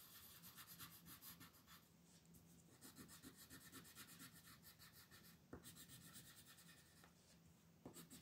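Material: Paper.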